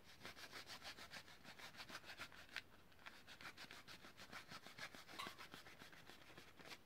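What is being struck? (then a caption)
Plastic blister pack with cardboard backing. Fingernails rub and scratch a long, hollow blister pack for a blue utility lighter, a clear plastic shell on a yellow card, held in both hands. Quick, uneven scratching strokes, about three per second, make a dry, bright rasp with a faint hollow low knock under it.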